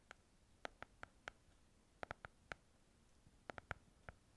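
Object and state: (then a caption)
Small hardcover book cover. A small, closed pink hardcover paper book is held in the hands while long nails tap and scratch its cover. Thirteen short, dry, quiet clicks with a hollow midrange knock come in loose clusters over a faint low background hiss.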